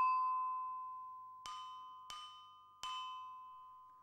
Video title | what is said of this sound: Human evolution: How our ancestors learned to speak, write and rule | a harmonious sound which is pleasing to the ear